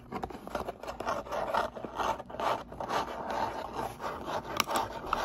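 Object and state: Cardboard box scratched and tapped.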